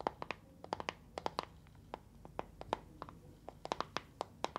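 A small neon-green plastic box with a handle, full of gel water beads, is held in both hands, tapped with long nails and shaken. A quick, uneven series of sharp, dry clicking taps is heard, each with a hollow ring near 860 Hz and a bright tick that dies away almost instantly, over a soft, quiet background.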